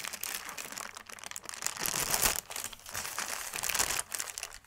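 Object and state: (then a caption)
Thin paper sheet crinkling. A thin white paper sheet is unfolded and smoothed out by hand, giving a steady, bright crinkling and crackling with almost no low end. The rustle swells loudest around the middle of the clip and dips briefly before and near the end.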